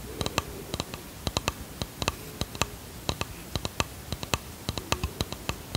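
A small, hollow, varnished wooden box with brass hinges is tapped with long fingernails in an irregular rhythm of about 28 quick taps. Each tap is a sharp, bright click that dies away almost at once, over a soft, steady background hiss.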